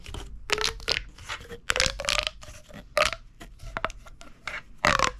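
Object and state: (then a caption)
Plastic pop tube toy. A hollow purple corrugated plastic pop tube is gripped in the fist and compressed, so its ridges crunch together under the fingertips. This gives a run of bright, crackling crunches and quick pops, some with a short, squeaky whistling tone, separated by quieter rustling.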